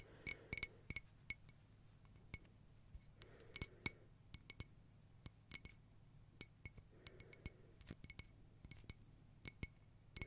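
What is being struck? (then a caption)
Mosaic glass tea-light holder. Long nails tap irregularly on a round, hollow, silver crackle mosaic glass tea-light holder with a lit candle, held on the palm. About 25 quick, short glassy clinks ring briefly around 2.2 kHz with bright overtones, over a steady low hum.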